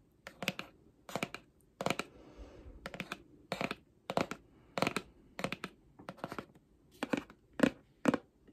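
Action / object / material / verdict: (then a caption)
tap / cardboard album box / cardboard / none. Long painted nails quickly tap the flat face of a holographic cardboard album box held up in the air, producing bursts of crisp, dry clicks with a bright edge and almost no ring. A softer, scratchy rustle briefly fills one pause between the tapping bursts.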